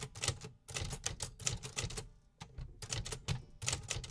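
Fingertips type steadily on a hollow, metal-bodied 1950s desktop typewriter, each key and typebar strike landing as a sharp, bright clack over a low, hollow thump from the body. The strikes come in quick bursts with brief pauses between runs, a repetitive mechanical rhythm with no voice.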